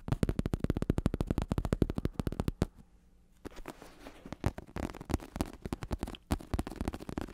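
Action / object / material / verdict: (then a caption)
tap / padded synthetic leather bicycle saddle over a plastic shell / synthetic leather / none. Fingertips tap on a black padded bicycle saddle with a synthetic leather cover and red trim, held in the hands, with the padded top over a plastic shell. A fast run of short, dull, low thuds fills the first two and a half seconds, then a brief near-silent pause. Softer, more irregular taps follow, mixed with light scratchy rubbing on the cover.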